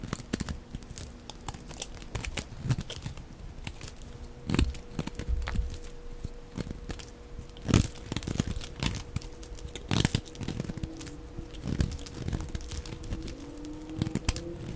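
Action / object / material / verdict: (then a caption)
scrape / glycerin soap bar cut with a blade / glycerin soap / none. A dry, translucent brown glycerin soap bar is held upright and shaved with a utility blade into crisp flakes. The blade gives a steady run of dry scraping and cutting, with crunchy, crinkly crackles and louder snaps as the flakes break off, over a faint constant low tone.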